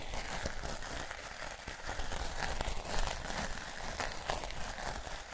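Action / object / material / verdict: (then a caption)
scrape / plastic artificial turf mat / plastic / none. Fingertips and nails scratch and rub the plastic blades of a square piece of artificial turf with a flexible backing, held close to the microphones, while the mat is crinkled. The result is a dense, continuous scratchy crinkling and rustling with brief louder bursts.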